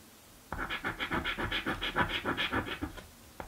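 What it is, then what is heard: Paper scratch-off lottery ticket. A coin scratches a thin, flat, blue cardboard scratch-off lottery ticket. After half a second of quiet, a quick run of about 13 rhythmic, gritty scraping strokes follows, with bright rasping texture. It ends in a short pause and one final brief scrape.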